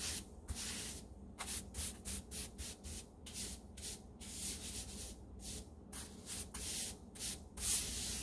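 A small handheld brush with plastic bristles and a white handle sweeps one spot of a large, solid light-grey ceramic or porcelain tile floor in short strokes. About fourteen quick, bright, scratchy swishes rise and fall in a steady rhythm. Each stroke leaves a brief high hiss over a faint low background rumble.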